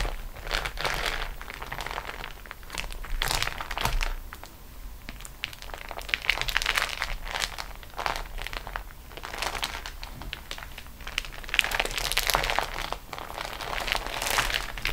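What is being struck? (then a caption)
Beeswax-coated cotton wrap. Long nails drag and scratch across a flat, crinkled sheet of beeswax-coated cotton food wrap resting on a table. They produce bursts of bright, crackly crinkling that rise and fall over a faint low background.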